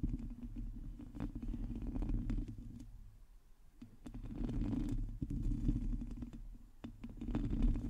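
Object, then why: Metal mesh microphone grille. Long teal nails scratch and tap across a hollow metal mesh microphone head, producing a dense, low rumbling scrape with scattered sharp clicks and brief bright ticks. The scratching fades to a quieter stretch around the middle, then swells back to full level and continues to the end.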